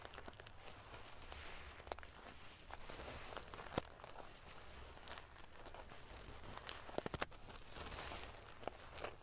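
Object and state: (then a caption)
Metal sequin pillow being ruffled. Fingernails scratch and ruffle the silver metal paillettes covering a sequin pillow. A soft, continuous crinkly rustle and scrape is heard, broken by brief sharp ticks and clicks of the metal pieces, over a low steady hum.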